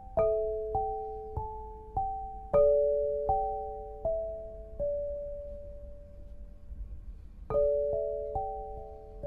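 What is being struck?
Granite lithophone bars.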